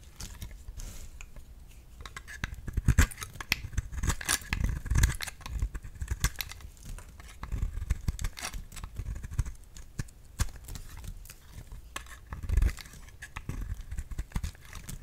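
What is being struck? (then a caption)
Round bar of soap. A solid round cream bar soap is held in the hand and shaved with a utility knife blade. Many short, dry scraping cuts follow one another, with low thumps and brighter shaving rasps, the loudest strokes landing near the middle and late in the clip.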